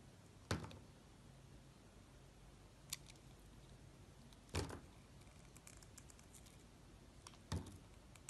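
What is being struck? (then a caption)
Banana-shaped soap cut with a utility knife blade. A solid yellow banana-bunch soap held in the hand is sliced and scraped with a snap-off utility knife blade. Dull cutting thunks with short scraping tails stand out against a quiet background, along with a sharper, brighter click near three seconds and faint high scratches in between.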